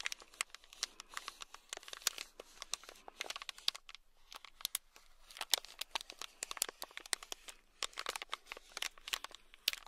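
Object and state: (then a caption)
Plastic bag of small beads. A small, sealed, clear plastic bag fully packed with tiny red beads, held in the palm, is scratched and tapped with a thin black stick. It makes a quiet, steady stream of bright crinkling, scratching and sharp clicking taps, with almost no low end and no lingering ring.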